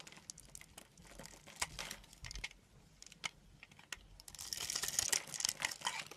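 A hand-held solid green bar of soap is scored and carved into cubes with a yellow utility knife. Crisp, bright clicks and crackly scraping come in uneven bursts, then build into a denser, louder crunching near the end.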